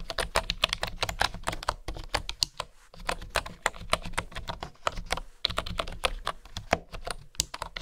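Bamboo keycaps on a bamboo keyboard are typed rapidly with fingertips and long nails, giving a steady stream of short, sharp, bright clicks and taps. The typing comes in bursts with brief pauses, over a faint low hum.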